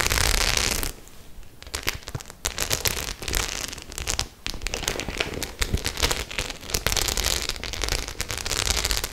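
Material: Faux leather.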